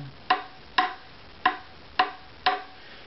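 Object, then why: Maple violin back plate. The varnished flamed-maple back plate of a hollow-bodied violin, held by the scroll, is tapped five times with a thin stick. Each tap gives a short, bright wooden knock with a tone near 740 Hz that fades within about a tenth of a second.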